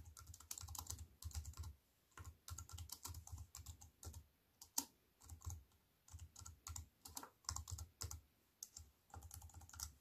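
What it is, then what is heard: Plastic computer keyboard. Fingertips with long white nails type on a compact computer keyboard with black plastic keys set in a silver aluminium frame. Bursts of quick clicking keystrokes combine a low thud with bright clacks and are separated by short quiet pauses. One sharper, louder click stands out near the middle.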